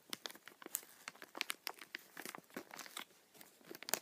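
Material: Plastic.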